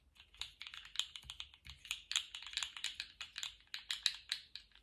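A small rainbow-striped, jointed plastic slug fidget toy with hollow segments is wiggled and bent in both hands. Its segments give a quick run of bright, dry clicks and light rattles, each one short with almost no ring.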